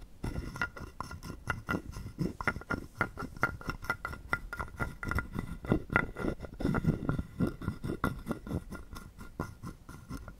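A wooden stick is rubbed across the ridges of a hollow carved wooden frog guiro held in the palm. It makes a steady run of quick, dry, raspy clicks over a hollow wooden body, with a faint woody ring around 1.4 kHz.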